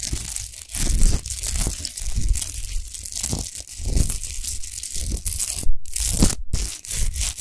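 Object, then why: Rock salt lamp. Long nails scratch fast across a tall, rough-textured, unlit natural Himalayan rock salt lamp of solid salt. The result is a continuous gritty, crunchy rasping with a heavy low rumble and bright scratchy hiss, broken by two brief pauses near the end.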